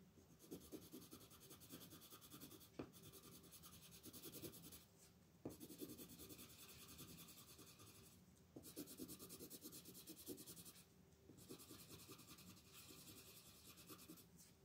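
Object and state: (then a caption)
Colored pencil shading on paper. A yellow wooden colored pencil is rubbed in short strokes across a printed paper coloring book page lying flat on a wooden table, shading it while a hand with long painted nails holds the page still. The result is a soft, steady scratchy rasp with a bright, papery hiss, coming in long runs of quick strokes broken by a few brief pauses and occasional sharper ticks.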